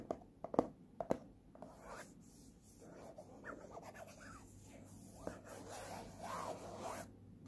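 Fingertips and short nails scratch across the printed text panel on the back of a small, hollow printed cardboard earphone box. A few sharp, dry scratches come in the first second, then give way to a soft, continuous rasping rub that swells and fades at a low level.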